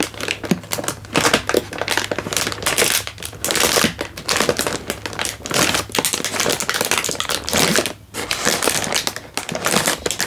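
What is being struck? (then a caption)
Instant noodle packet in plastic wrapper. A single full Indomie instant noodle packet in a crinkly plastic wrapper is held in one hand and squeezed and crinkled with the fingers. The result is dense, bright crackling and crinkling in rapid overlapping bursts, with a brief lull just before 8 seconds, over a faint steady low hum.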